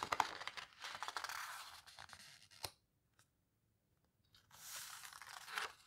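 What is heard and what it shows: Fingertips squeeze and rub the heavy paper pages of an open paper photo book and turn one, making dry, bright rustling and crinkling. A sharp papery snap ends the first stretch, followed by near silence and then a second burst of rubbing.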